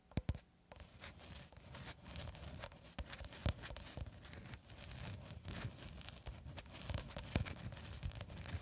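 A long cylindrical roll of clear plastic cling film, solid wound film held horizontally in both hands, is tapped and scratched across its surface by long red acrylic nails. Quick, dense taps and crinkly scratching scrape along continuously. Sharper clicks stand out over a low, muffled body and thin bright edges.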